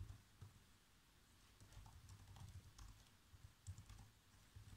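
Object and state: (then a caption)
Plastic laptop keyboard. Fingertips type on black plastic laptop keys, producing quiet, repeated key taps with soft low thuds and faint bright clicks as a script is typed out. Each tap is short and dies away almost instantly, with a few slightly louder strikes among the steady patter.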